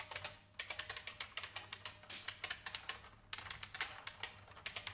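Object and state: Mechanical keyboard being typed on.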